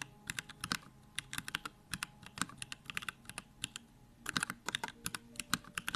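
Continuous fingertip typing on a compact Bakeneko65 mechanical keyboard with Durock Lavender switches and plastic keycaps. Around thirty quick, separate keystrokes produce crisp, bright clacks with a soft low-mid thock and very short decay, over a quiet background.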